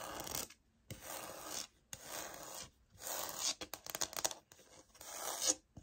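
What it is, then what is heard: Laminate floor sample. Long nails scratch across the embossed grain of a light oak laminate floor sample, a solid plank, in several bright, raspy strokes separated by short pauses. Partway through, a quick run of light taps on the plank breaks up the scratching before a final long scrape.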